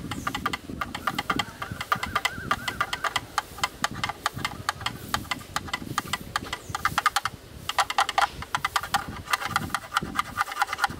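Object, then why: Plastic camera lens hood. Two thin yellow sticks rapidly tap and rattle against the inner walls and rim of a hollow, black, rectangular plastic camera lens hood. The result is a steady stream of sharp, dry clicks with a hollow plastic tone around 1.2 kHz and a bright edge, each tap dying away almost instantly.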